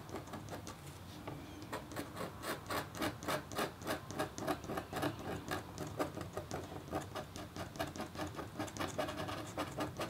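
A red-handled, metal-tipped stylus rapidly scratches a flat, black-coated copper foil scratch art board. Short, quick, slightly uneven scraping strokes repeat throughout, each a brief bright, gritty rasp over a faint low hum. The strokes stay fairly steady in loudness across the clip.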